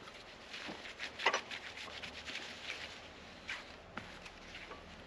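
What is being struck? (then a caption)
Lacquered wooden guitar body. A yellow polishing cloth is rubbed and wiped across the lacquered surface of a solid black, gloss-finished wooden electric guitar body lying flat. The result is soft, bright, airy swishing and squeaking strokes, with a louder scrubbing burst around the first second, over a quiet background.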